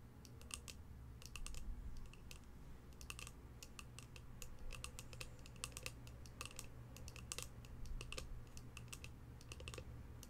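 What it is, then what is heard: Cardboard box tapped with fingernails. Long pastel nails tap rapidly on the lid of a polka-dot cardboard box held in the hands, producing a steady stream of quick, bright clicks. The clicks sit over a low, constant hum.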